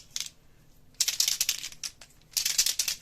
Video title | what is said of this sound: Grosse surprise de Déborah | il faut bien les secouer. Donc si vous entendez bien, vous allez entendre la petite bille dedans